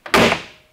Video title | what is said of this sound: Hubnut's Citroen GSA Comes in For a Little TLC | c'est assez de qualité en fait ouais ça sonne plutôt bien